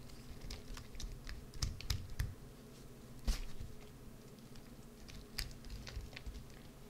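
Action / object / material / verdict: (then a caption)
scrape / soap bar / soap / none. A hollowed green soap bar held in the hand has its interior scraped with a white-handled carving tool. Short, dry scraping ticks and clicks come in an irregular run, with the sharpest one near the middle, over a low, steady rumble.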